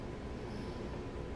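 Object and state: Nothing is struck.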